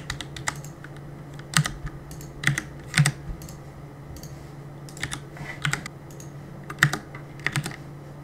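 Fingertips press and tap the plastic keycaps of a black plastic CM Storm mechanical keyboard on a desk while gaming. Quick, sharp clacks come in irregular bursts and clusters, each click dying almost instantly with a bright edge. A steady low hum runs underneath.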